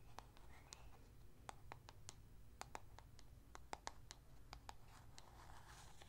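Long acrylic nails tap and scratch the lid and sides of a small, hollow blue plastic cosmetic jar with a lid, likely a lip sleeping mask, held in one hand close to the microphone. Around eighteen short, dry clicks land at an irregular pace, each with a hollow tone near 840 Hz and a bright crisp edge that dies almost instantly. Between the clicks, faint scratching sits over a steady low rumble.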